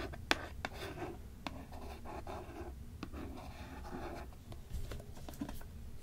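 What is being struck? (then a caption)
Hardcover book with a cardboard cover. Long nails scratch and tap the printed board cover of a small cardboard-covered "Tales of Terror" hardcover book or book box held upright in one hand. Soft, steady scratching with a low rumble underneath is broken by a few sharp, bright clicks that stop almost instantly.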